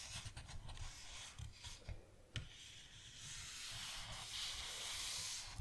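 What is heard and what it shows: Fingertips and palms rub and trace across the blank lined cream pages of an open paper notebook lying flat. A soft, bright, airy scratching rises and falls, with low thumps and a sharp tap near the middle, and swells into a steadier hiss toward the end.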